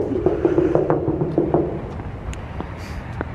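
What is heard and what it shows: Repeated knocks on a small holiday display figure at a Christmas display, a quick, uneven series of short, dull taps with a low hollow resonance that fades fast. The figure sounds hollow.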